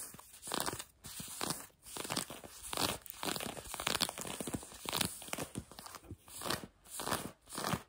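A hand with long nails scratches the fabric of blue denim jeans worn on a leg. Repeated rough, crunchy scratching strokes come in short bursts with brief quiet gaps, each with a bright, raspy texture and almost no ring.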